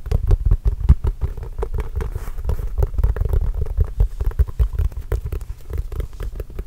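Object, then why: Inflated composite leather basketball. A full-size Spalding composite leather basketball, hollow and inflated, is held close to the microphone and tapped and scratched with the fingertips. Rapid, irregular taps make dull, deep thumps that die away almost at once, mixed with faint scratching across the leather.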